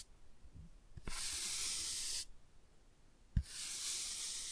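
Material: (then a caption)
Cardboard. A toothbrush scrubs the cover of a laminated cardboard board book in two bursts, each starting with a soft low knock. Each burst is a steady, bright, hissing scratch, separated by a short quiet pause.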